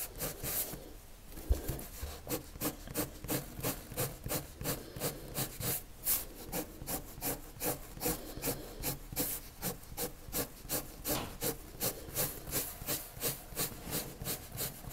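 A red colored pencil shades across a white paper sheet with repeated strokes, producing a steady, rhythmic scratchy rubbing with a bright, papery texture. After a brief quieter start with one sharp tap, the strokes settle into a fairly even back-and-forth pattern over a faint low hum.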